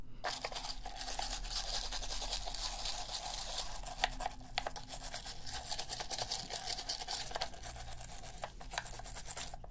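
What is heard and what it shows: A toothbrush scrubs around the buttons and surface of a black, hollow plastic PS3 game controller held in a blue-gloved hand. The result is a steady, bright, bristly scratching with a faint tone near 740 Hz, a low hum underneath, and a few sharp ticks scattered through the scrubbing.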